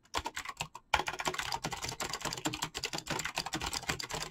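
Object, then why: Mechanical keyboard with plastic keycaps. Fingertips type rapidly on a full-size backlit mechanical keyboard with PBT plastic keycaps. A few quick keystrokes and a short pause give way to a steady run of dense, crisp, bright clacks. Each click is sharp and dies away almost instantly, with little low-end thump.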